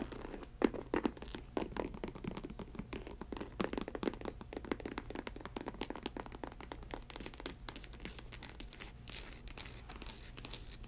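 Long acrylic nails scratch and tap the upper and studded welt of an empty faux snakeskin ankle boot with a chunky rubber sole. The result is a quiet, steady run of dry scratching, crinkly rasps and sharp little clicks, each dying out almost instantly, over a faint constant low hum.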